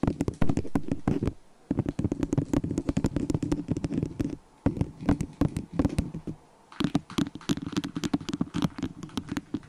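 A small, hollow, empty white disposable plastic cup sits upside down over a furry microphone and is tapped and scratched with long acrylic nails. Bursts of rapid, dull, hollow clicks with a low resonant thump ring briefly and mix with light scratching. Short pauses break the bursts.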